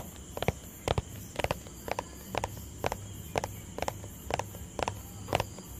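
Fingertips tap a small, hollow white plastic tub held close to the mic. Short, dry, hollow clicks come in quick pairs and clusters about twice a second, with a mid-pitched knock around 700 Hz. A faint steady hiss and a bright, thin whine sit underneath.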